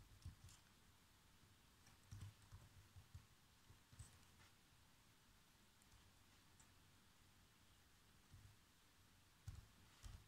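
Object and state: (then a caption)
Plastic laptop keyboard. Fingertips type slowly on the keys of a black plastic chiclet laptop keyboard, giving about seven soft, separate taps over a faint steady hiss. Each tap is a quiet, dull low thump with a light bright click on top, and it dies away almost at once.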